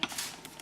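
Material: Dried kale.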